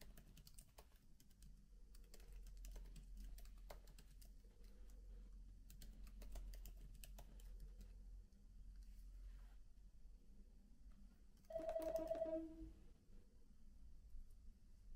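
Fingertips type softly on the plastic keys of a MacBook keyboard with an aluminium body, resting on a bed, in irregular quiet clicks with a low steady hum beneath. Near the end a brief louder tonal ring stands out before the hands come to rest on the aluminium palm rest.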